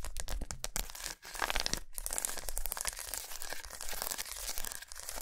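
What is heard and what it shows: Long nails scratch quickly across a long solid milk chocolate bar with raised squares, laid lengthwise on a towel. The result is a dense, bright, crackling scratch with a crinkly, tearing texture and a low hum underneath. It runs almost continuously, with only brief pauses.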